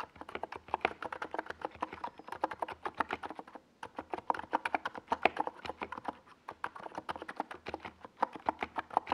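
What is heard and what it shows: Fingertips type continuously on a small NiZ Plum Atom 68 mechanical keyboard with a white plastic case and purple and yellow Domikey Gas Attack SA plastic keycaps, resting on a desk pad. It makes a rapid, steady stream of short, dry clacks centred in the mid range, with a brief pause just before the four-second mark. Each keystroke dies away almost instantly.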